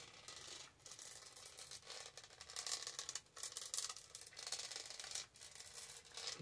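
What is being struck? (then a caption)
Textured plastic tumbler with lid and straw. Long nails scratch the side and lid of a tall, hollow lavender plastic tumbler with a diamond-studded texture, its lid and straw in place. The result is a quiet, bright, gritty rasping with almost no low end, coming in several sustained bouts separated by brief pauses.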